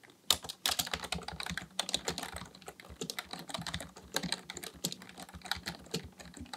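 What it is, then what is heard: Plastic membrane keyboard. Both hands' fingertips type continuously on a black plastic full-size Dell KB1421 membrane keyboard with a hollow housing, resting on a desk, pressing and tapping keys. A dense, uneven stream of short, bright plastic clicks rides over soft, hollow low thumps, with each keystroke dying away almost instantly.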